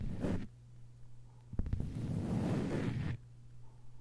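Long white nails scratch and tap a thin, flat green plastic cutting board with a hanging hole. A short dull scratch is followed by three quick, close taps, then a longer, steady rasping scratch across the surface. A low hum sits underneath throughout.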